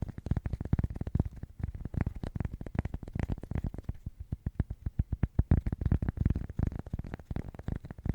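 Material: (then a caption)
Cork. Fingernails tap rapidly on a cork coaster, making a dense stream of soft, dull, bassy taps. The taps are short and dry, and the sound sits almost entirely in the low end.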